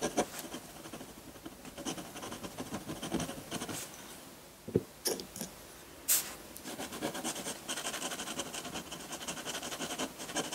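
A metal dip pen nib scratches and strokes ink lines across a flat sheet of textured white drawing paper. Soft, dense, bright scratching runs throughout, broken by a few sharper ticks and a louder crisp scrape near the middle.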